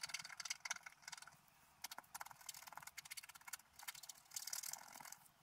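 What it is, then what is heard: Scratch art paper being scratched. A wooden stylus scratches through the coating near the top edge of a flat, black-coated scratch art sheet lying on a table. It makes quiet bursts of dry, bright scratching strokes with rapid rasping texture and no low end. Short pauses separate the bursts of strokes.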